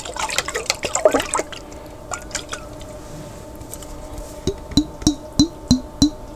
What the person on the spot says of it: Tapping On A Jar With Water